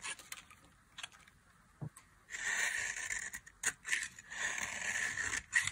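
A metal knife cuts and scrapes flakes off a solid oval bar of dry blue soap held in the hand. Sparse, light clicks and ticks open the clip, then a sustained, bright, crisp scraping rasp sets in with short breaks and sharper bursts.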